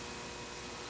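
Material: Nothing is struck.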